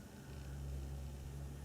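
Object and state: Nothing is struck.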